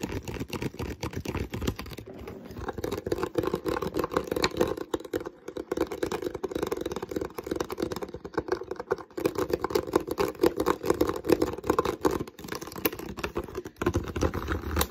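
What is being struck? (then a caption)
Plastic water bottle. Fingertips scratch and tap the ribbed body of an empty clear PET water bottle with a green label, hollow and slightly crinkled. The result is a steady stream of rapid, dry plastic clicks and scratchy rustling with a hollow, mid-pitched resonance around 370 Hz. Each tap dies away almost instantly, with brief lighter pauses between busier stretches.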